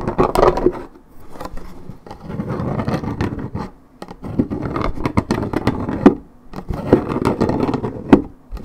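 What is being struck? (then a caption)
Coated paperboard juice carton. Long nails scratch and rub the top of a hollow, coated-paperboard Minute Maid orange juice carton. Dry, papery scraping comes in rhythmic bursts with short pauses between them. A few sharp clicks from the nails cut through the scratching.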